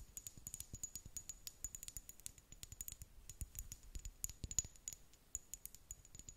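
Long nails tap rapidly on a small amber glass dropper bottle, a brown glass serum bottle with a dropper cap, filled with liquid. The quick, uneven taps are bright and clicky, with a thin high glassy ring over soft, dull low thumps, and each tap dies away almost at once.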